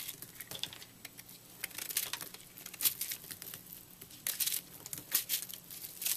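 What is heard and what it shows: A utility knife blade slices through a porous, microwaved puffed purple soap chunk held in the hand, cutting into the crumbly, airy soap. Dry crinkling and crunching crackles come in irregular bursts, bright and hissy, with almost no low end. Crumbly fragments snap and break away in quick, close-miked rustles.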